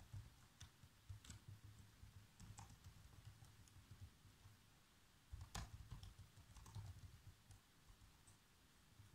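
Bare fingertips with short nails type continuously on the keys of a black plastic laptop keyboard, typing out a movie script. Soft, low key thumps run through the clip with sharper bright clicks scattered throughout, and a denser burst of taps comes just past the midpoint.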